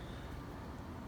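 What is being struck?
Nothing is struck.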